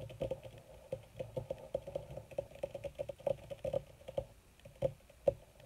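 Long red nails on both hands tap quickly across a crumpled black leather (possibly faux) sheet. The result is a rapid, uneven patter of short, dull taps with a soft mid-range knock near 550 Hz. Each tap dies away almost instantly, with no ring.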